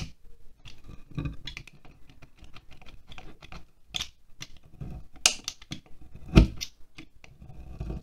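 A utility knife blade carves and scrapes downward into a solid green wax pillar candle standing on a glass plate. Quiet, irregular scratchy scrapes and crisp ticks are heard over a soft low rumble, with a few sharper, brighter scrapes and one louder dull knock near the end.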